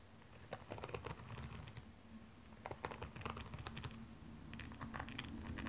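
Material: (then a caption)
Glass rhinestones. Long painted nails scratch and tap across the small glass-like rhinestones covering the upper of a single blue stiletto shoe, which lies hollow and empty on its side. The result is bursts of quick, bright clicks and ticking taps in uneven clusters over a faint, steady low hum.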